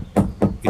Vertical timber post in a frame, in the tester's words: the vertical is bouncing and that says to me it's not connected